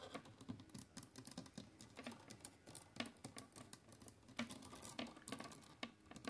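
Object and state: Plastic clothes hangers tapped and scratched.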